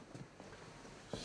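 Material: Nothing is struck.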